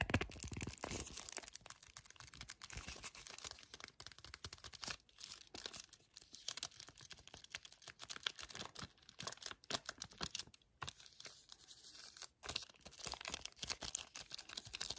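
Fingernails scratch and fingertips grip and tap a full yellow cardboard chocolate bar sleeve held close. The result is a quiet, fast, continuous stream of dry, bright crinkling scrapes and short papery ticks, with brief pauses between bursts.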